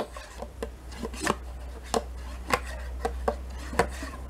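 A metal spoon scrapes the inner walls and bottom of a small, thin, mostly empty plastic yogurt cup in about ten short, uneven strokes. Each stroke gives a brief, dry scratch with a bright edge that fades almost immediately, over a steady low hum.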